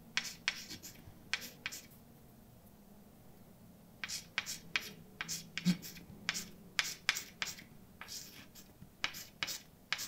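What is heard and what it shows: A hand writes words with a white chalk stick on a large, flat, dark painted blackboard with a solid surface. About twenty short, bright scratching and tapping strokes are heard, with a quiet pause in the early part. The strokes come in quick bursts that stop sharply.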